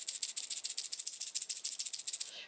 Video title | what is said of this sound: How To Get Wonka Bars Miniverse Every Time! (New Hacks! Golden Ticket!) | if you shake a ham ball and you hear sound, you hear something that kind of sounds like sprinkles